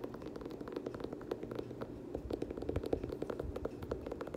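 Fingernails scratch and tap the iridescent leather upper and rubber sole of an empty, hand-held dark teal leather Air Jordan 6 high-top sneaker with laces. Quiet, dry, crackly taps rise over a steady, mid-pitched scratching and stop almost instantly with no ringing.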